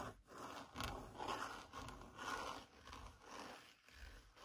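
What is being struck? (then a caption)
Padded faux leather car armrest. Long lilac-painted fingernails scratch the padded black grained faux leather centre-console armrest of a Seat Leon FR car. Soft, dry rasping strokes swell and fade roughly once a second, with a grainy hiss spread from the low mids up to bright highs. The overall level stays quiet.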